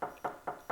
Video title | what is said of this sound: How To Build a Coffee Table | if you knock on the piece right it has a really solid sound to to it and that's when you know that the veneer is firmly bonded